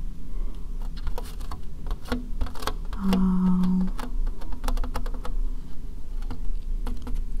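Long painted fingernails tap quickly on the base and sides of a white plastic bowl, hollow and empty and held upside down. Rapid, light, clicky taps with very short decay patter like typing over a steady low hum, with a brief faint tone partway through.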